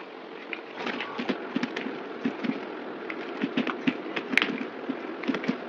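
A solid oval white bar of soap, held in the hand, has thin shavings scraped off it with a yellow box cutter blade. A rapid, uneven series of short, crisp, crackling scrapes with bright edges rises over a soft, steady hiss.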